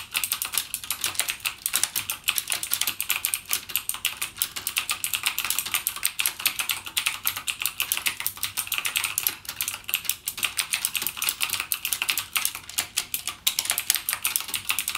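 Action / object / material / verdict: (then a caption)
tap / plastic mechanical keyboard / plastic / none. Fingertips type continuously on a single backlit mechanical gaming keyboard with plastic keycaps and clicky Cherry MX Blue switches. A dense, steady stream of sharp, bright clicks fills the clip, each snapping off almost instantly with almost no low end. The typing keeps an even rhythm with small swells and dips in loudness throughout.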